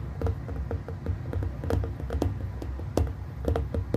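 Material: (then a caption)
Glass. Fingertips and nails from hands on both sides tap rapidly on a hollow glass plasma globe about 15 cm across. The quick, irregular taps are short, dry clicks with bright tops over a steady low hum.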